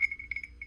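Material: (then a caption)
Bronze. An early 1800s bronze crotal bell, size 4, dug with a metal detector, is shaken and gives a bright, clear jingling ring around 2.2 kHz in quick repeated bursts. The bell is intact and in very nice condition, with its rattle pellet still free inside so it still rings.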